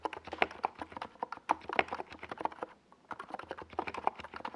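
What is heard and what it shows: Fingertips of both hands type on a compact NiZ Plum Atom 68 mechanical keyboard with a white plastic case and tall purple and yellow Domikey Gas Attack SA plastic keycaps, resting on a desk pad. A fast, uneven stream of short, clacky mid-pitched key taps rings out, each dying almost at once, with a few louder strikes standing out. The taps pause briefly near the three-second mark before resuming.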